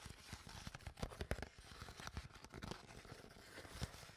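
An empty, crumpled, hollow clear PET water bottle with its cap on is crinkled and scratched with long nails. Quiet, dense crackling and scratching runs throughout, broken by sharper plastic pops and dull, low thumps from the hollow body.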